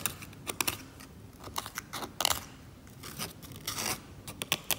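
A metal scalpel scrapes glossy, thick varnish off the surface of an oil painting in short strokes, lifting it away in flakes. Each stroke is a bright, dry, crackly scrape with a crisp tearing edge. The bursts are quick, with almost no low end and no ring after them.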